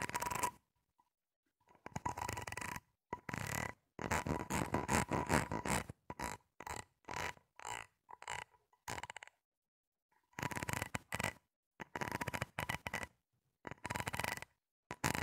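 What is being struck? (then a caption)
Corrugated plastic hose. A hollow, grey, ribbed flexible plastic hose (a corrugated plastic tube) is gripped, rubbed and scratched with fingertips and long nails along its corrugations. This produces bursts of dry, rattling, scratchy ratcheting with a faint hollow tone, separated by short silences. The bursts come in uneven runs of quick strokes.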